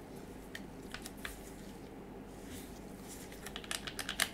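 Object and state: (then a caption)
Plastic game controller. A hand-sized dark grey plastic DualShock 4 controller with a hollow shell, gripped in black-gloved fingers that press its buttons and tap it. Soft clicks and taps come in bursts over a low steady hiss, sparse at first and then bunching into sharper, bright clicks near the end. Each one is short and dry with almost no ring.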